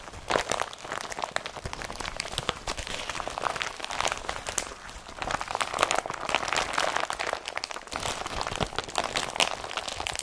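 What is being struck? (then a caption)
Woven polypropylene carrier bag. An empty blue and yellow IKEA BRATTBY carrier bag, made of thin, flexible woven polypropylene, is squeezed and crumpled in both hands with the fingertips. The result is a dense, continuous, bright crinkling and crackling with sharp, dry snaps. It eases briefly around the middle before picking up again.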